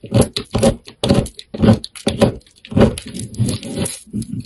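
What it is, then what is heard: Bar of soap being carved. A utility knife blade scrapes and carves small cubes off the surface of a solid, hand-sized black soap bar with a purple core held in one hand. Short, irregular bursts of dry scraping and crisp cutting repeat throughout, each with a soft low body and a bright, hissy edge.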